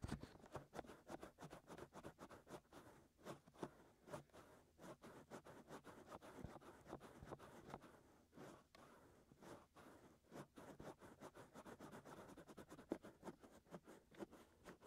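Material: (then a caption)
Silicone. Fingertips scratch and rub the outer surfaces of the white silicone ears, with hollow canals, on a 3Dio binaural microphone. The result is a quiet, steady stream of short, dry scratching and rubbing strokes with a soft, muffled, low-mid character and little high-end brightness.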